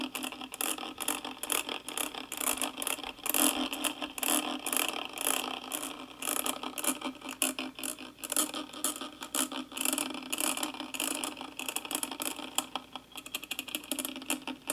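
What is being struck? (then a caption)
Metal mesh microphone grille. A thin wooden-handled brush rubs the hollow metal mesh grille of a karaoke microphone with steady strokes. The result is a continuous bright, crackly scratching texture with fast rattling ticks and almost no low end.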